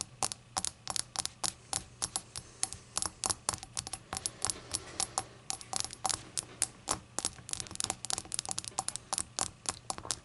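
Long acrylic nails tap the rim and body of a small, hollow, empty rainbow-glazed ceramic shot glass lying on a towel. The result is a rapid, irregular run of short, bright clicks that stop almost instantly, over a faint steady low hum.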